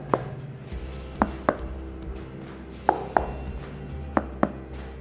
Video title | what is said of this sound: Jangan Beli iPad 8 Sebelum Nonton Video Ini! (iPad 8 VS iPad Pro 10.5) | ip8 ini memiliki layar yang kelihatan kopong jadi kalau kita ketok kayak gini